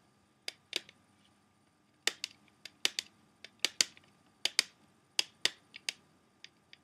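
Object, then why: Plastic CD jewel case. An open plastic CD jewel case is held in one hand while fingertips and short nails tap its clear plastic tray and disc hub. The result is a quiet, irregular series of short, crisp, bright clicks that die away almost instantly, with no low-end body.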